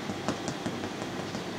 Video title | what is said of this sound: Французкий хлеб с луком и сыром Подробный видео рецепт | глухой звук такой вот как пустотелой